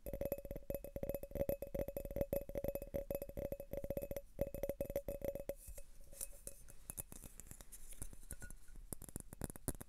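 An empty, thin-walled clear glass tumbler is held in both hands and tapped and rubbed with fingertips and nails. For the first half, rapid light taps make it ring with a steady mid-pitched clink. Then the sound shifts to softer, scratchier rubbing and tapping with a brighter, hissy texture.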